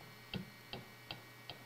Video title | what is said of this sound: Assembly | just knock them until you hear that dead sound